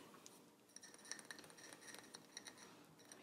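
A small ceramic plant pot, green-glazed on the top half and white below and holding a potted plant full of soil, is held in both hands and tapped with the fingertips and nails. A quick, irregular series of quiet, light clicking taps each gives a brief, bright, high-pitched ring that dies away almost at once.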